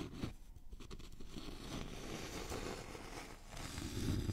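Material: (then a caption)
Wood. A thin, flat, solid wooden notched trowel board with a scalloped edge is held at an angle and scratched and tapped with fingernails. The result is a steady, dry, low scratching and rubbing texture with soft woody taps, growing slightly louder near the end.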